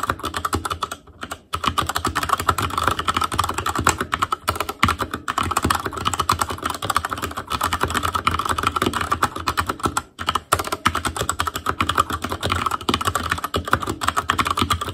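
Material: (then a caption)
Plastic. Fingertips type steadily on an Asus Claymore Core backlit mechanical keyboard with plastic keycaps, producing a dense stream of short, crisp clicks and clacks. A low hum runs underneath, and a couple of brief pauses break the otherwise continuous rhythm.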